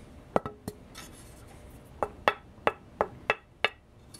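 A dense fingerboard blank, either cocobolo or leopardwood, is tapped in a quick run of sharp, short taps, then, after a pause, a steadier series. Each tap gives a bright, glassy tone centered around 830 Hz that dies away almost instantly. The tone is nice, glassy and dense.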